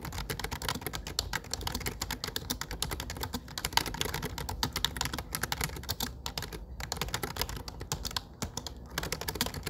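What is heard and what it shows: Fingertips type fast on a low-profile plastic computer keyboard with dark grey plastic keycaps and a grey frame, producing a dense, steady stream of rapid, short, crisp clicks. The taps are bright, with a low thud under each one, and the typing stops briefly in a few places.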